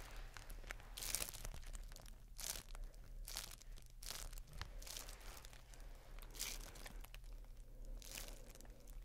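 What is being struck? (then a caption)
Plastic bubble wrap sheet. Fingers crinkle and scratch a large clear plastic bubble wrap sheet, producing repeated bright, crackling bursts of crinkling and tearing-like rustle. A steady low hum sits underneath throughout.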